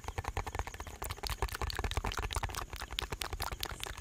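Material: Plastic.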